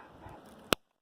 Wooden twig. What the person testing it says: bone dry. If you can hear that, just that click.